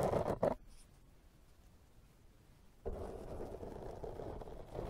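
The bristles of a pink silicone pastry brush are brushed against a black foam microphone windscreen, making soft, muffled scratchy rustling. A short loud burst of brushing is followed by about two seconds of near silence. A steadier, rougher brushing texture then continues to the end.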